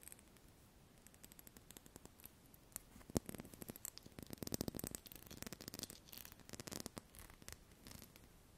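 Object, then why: Small glass perfume bottle. Long painted nails tap and scratch the faceted surface of a small hollow glass perfume bottle with pale liquid inside, held in both hands close to the microphone. The result is quiet, crisp clicks and scratchy rubbing in irregular bursts, each tick dying away almost instantly.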